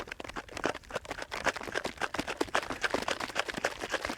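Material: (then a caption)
Cream. Cream is shaken in a jar, making quick, uneven bursts of wet sloshing. The sloshing is getting softer because the cream is thickening on its way to becoming butter.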